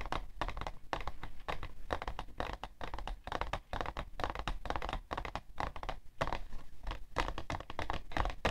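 Painted fingernails tap and scratch a hollow, printed cardboard tissue box full of tissues, standing upright on white fur. Rapid, dry taps blend with papery scratching in a dense, steady run of short, dull knocks with a low, thumpy body and almost no ring.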